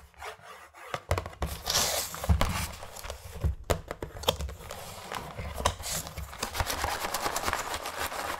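Fingertips and medium-length nails rub and scratch across the printed lid of a flat, closed, red cardboard Skittles gift box filled with candy packets, making a dry, raspy, bright scraping with soft low thumps. The scratching comes in irregular strokes, then the box is lifted at the end.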